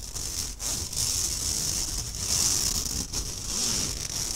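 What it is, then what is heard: Stainless steel mesh sieve. Fingertips and nails scratch across the fine mesh of a round, empty stainless steel kitchen sieve with a steel rim, held upright in front of the mic. The result is a steady, bright, hissy rasp in uneven strokes, with brief dips between passes and only a faint low rumble underneath.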